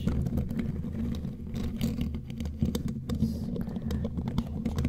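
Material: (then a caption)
Metal. Long glittery claw nails tap rapidly on the bare black metal mesh grille of a studio microphone. A dense run of quick, short taps gives close, bassy thumps laced with sharp bright clicks, steady throughout.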